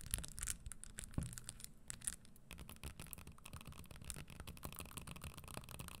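Long nails brush and scratch across the studded surface of a red spiked leather Christian Louboutin stiletto pump held upright, making a dense run of quiet, brief scraping ticks with bright, hissy edges over a low rumble. The sound stays soft and steady throughout, with a few sharper clicks standing out.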